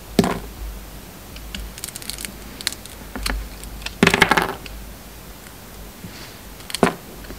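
A bar of soap with a red coating, now mostly its pink inside, is shaved with a metal utility knife blade. Short scraping cuts are heard, with the louder strokes near the start, around four seconds, and near the end.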